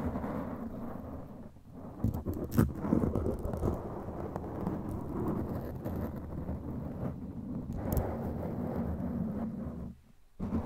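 Long, pointed, glittery claw nails scratch and tap a black foam windscreen over a microphone head, making a dense, muffled, rumbling scrape concentrated in the low end. Sharper taps stand out around two to three seconds and again near eight seconds. The sound drops almost to silence just after ten seconds, then briefly resumes.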